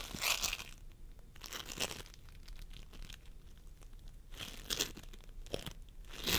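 Fingertips of both hands press and squish a pastel mound of sticky floam sculpting foam, made of polystyrene beads, on a wooden table. The sound is a series of bright, crinkly crunches and crackles that swell in bursts over quieter, steady fine crackling.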